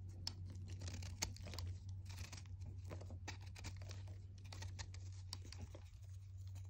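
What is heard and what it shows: A red utility knife blade scrapes and cuts a small solid white chalk disc held in the fingers, shedding powder and flakes. Short, dry, bright scraping and crumbly crunching bursts repeat throughout over a steady low hum.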